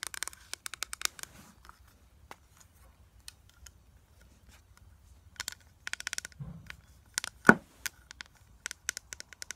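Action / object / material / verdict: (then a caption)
tap / hard plastic eyeshadow palette / hard plastic / none. A flat, clear hard plastic eyeshadow palette with a closed lid and pressed powder pans inside is held in hand and tapped with long acrylic nails. Bursts of quick, sharp, bright clicks come in uneven clusters with quieter gaps, each tap dying away almost instantly, and the loudest tap lands near the end.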